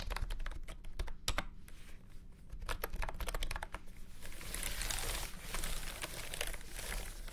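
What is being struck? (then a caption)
Plastic keyboard. Fingertips type on a full-size beige and orange plastic keyboard with round keycaps and a hollow body, resting on a felt mat. Sharp, short clacks come in uneven bursts over a low rumble, then turn into a denser, brighter flurry of rapid keystrokes in the second half.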